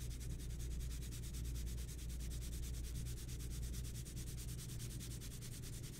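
A mechanical pencil held in the fingertips shades a pencil portrait in progress on a large flat sheet of white drawing paper resting on a table, rubbing across the surface in short, rapid, repeated strokes. Each stroke gives a bright, high scratchy hiss over a steady low rumble, at an even level throughout, and the audio may be sped up.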